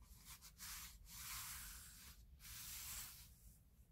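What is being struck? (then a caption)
Kraft cardboard box. Fingertips with medium nails rub and tap across the lid of a flat, book-sized kraft cardboard box for a 3D wooden puzzle kit, probably closed and full, lying on a grey surface. Quiet, bright, scratchy rubbing strokes swell and fade with brief gaps between them, over a faint low rumble.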